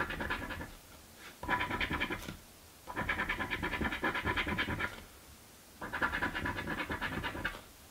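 A coin scratches the grid squares of a paper crossword scratch lottery card. Four bursts of rapid, gritty scraping sound, each a quick run of short strokes, separated by brief quiet pauses.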